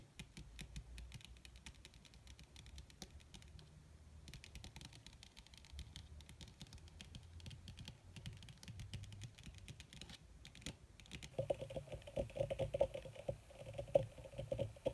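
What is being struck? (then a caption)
Crinkled leather surface. Long red fingernails on both hands tap fast across a flat, black, crinkled leather (or faux leather) surface. The result is a dense, continuous patter of short, dry clicks. It grows louder and gains a brighter, more ringing edge in the last few seconds.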